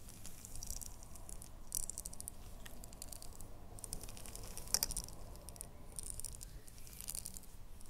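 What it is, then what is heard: Ribbed glass jar with lid. A small red ribbed glass jar with a lid is gripped in both hands while long nails tap and scratch along its ribbed sides. Quiet, bright, rattly clicks and scrapes patter continuously over a low, steady background rumble, with a few slightly sharper taps standing out.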